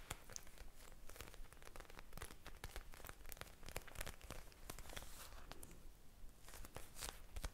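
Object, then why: Plastic gel bead eye mask. A small blue eye mask, a soft clear plastic pouch filled with gel beads, is held beside the microphone and tapped and squeezed with long painted nails. Quiet, crinkly plastic rustling and tearing-like crackles are broken by a dense run of sharp, bright clicks over a low rumble.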